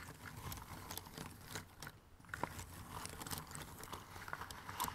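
Fingertips rummage and scratch through a pile of thin cardboard jigsaw puzzle pieces in an open cardboard box. The result is a steady, dense rustle of dry scratching and small crisp clicks, with a brief quieter lull around the middle before the shuffling picks back up.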